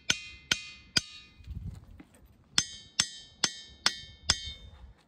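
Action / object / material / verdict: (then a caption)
strike / stone boulder struck with a hammer / stone / ringing. A hammer strikes a glacial boulder in a rocky hollow at Ringing Rocks Park in Pottstown, Pennsylvania, eight times: three blows, a short pause, then five more. Each hit gives a sharp, bell-like metallic ring with bright high overtones that fades quickly.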